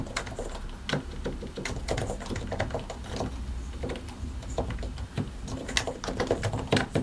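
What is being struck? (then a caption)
Plastic mechanical keyboard. Both hands type continuously with their fingertips on a solid white and grey plastic mechanical keyboard, pressing and tapping the keycaps over the switches. Quick, short clicks and clacks tumble over one another with brighter accents, above a steady low rumble.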